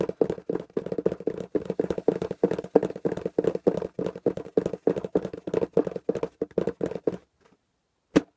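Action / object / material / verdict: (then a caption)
tap / small corrugated cardboard box / cardboard / none. A small, hollow, taped corrugated cardboard box is held in both hands and tapped rapidly with the fingertips, giving a fast stream of dry, hollow taps centered in the low-mid range around 450 Hz. The tapping runs steadily for about seven seconds, then stops, and one last sharp tap follows about a second later.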